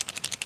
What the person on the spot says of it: unfortunately the enemy markers don't sound as good